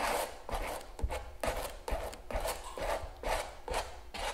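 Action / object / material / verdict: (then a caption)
scrape / palette knife on stretched canvas / canvas / none. A palette knife scrapes gel across a large stretched canvas giclee print lying flat, while the other hand holds the canvas edge. Nine rhythmic, raspy scrapes with a soft low thump at the start of each stroke and a bright hiss that fades quickly.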